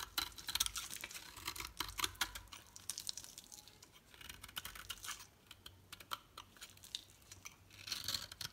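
A solid green oval bar soap is shaved with a utility knife blade, and the flakes fall onto the table. Quiet, rapid, bright scraping crackles and crisp ticks come in uneven bursts with short gaps, dying away almost instantly.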